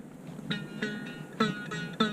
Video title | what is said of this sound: More Lazy Beekeeping | I wind it tight you can hear it tight